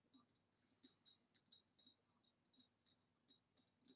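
Long nails tap and click on the ribbed neck and lower body of a hollow, empty, upright green ribbed glass vase. A quick, uneven series of quiet, bright glassy clicks follows, each with a high, short ring that dies away almost at once.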